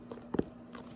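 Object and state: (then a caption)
Softcover book, smooth cover. Fingers tap and scratch the smooth softcover of a paper book: a faint tap, then two quick, louder dull taps with almost no ring, and soft scratchy noise toward the end. The smooth cover gives a different, softer sound than a hardcover book.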